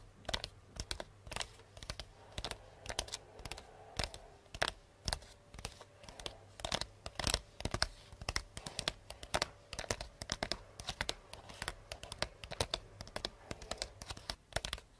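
Long painted nails tap fast and scratch lightly on a hollow, medium cardboard box wrapped in pink star-print paper with a purple ribbon bow. The result is a quick run of short, bright, dry clicks over soft papery scratching, with a faint low hum beneath.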